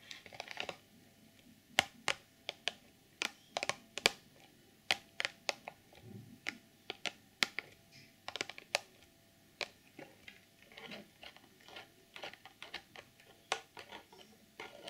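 Long nail tips tap the top and front of a hollow, clear plastic packaging box, making quick, dry, bright clicks with almost no ring. The taps come in an irregular stream of about thirty, some louder and sharper than others, with faint rustling between them.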